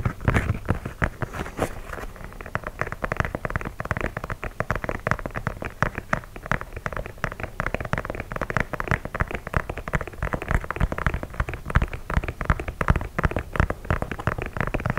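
Fingernails tap and scratch the perforated leather toe box of an empty white leather sneaker held vertically. The result is a steady, dense stream of quick, dry clicks and scratchy rustling, weighted toward the low end, with each tap dying away almost instantly.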